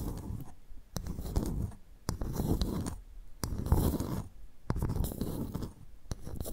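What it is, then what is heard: Clam shell being tapped and scratched. A pearl clam's shell is tapped and scratched before the clam is opened for pearl extraction. Low, rough scratching comes in bursts, punctuated by sharp, dry taps that cut off almost instantly, with quiet gaps between the bursts.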